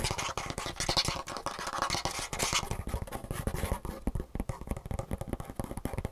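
Fingertips and nails rapidly tap and scratch the underside of a Superfeet shoe insole, across its gray foam base and a green plastic heel cup with rivets. The result is a dense stream of quick, dry clicks with a low thumping body and a bright, scratchy edge.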